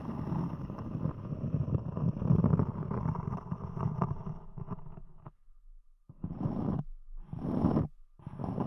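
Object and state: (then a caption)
Cork disc. A thick, round, palm-sized solid cork disc set on a microphone has its textured top scratched and tapped by long acrylic nails. The result is a dense, low, rumbling crackle of scrapes and soft taps that runs steadily for about five seconds. It then breaks into short bursts separated by near-silent gaps.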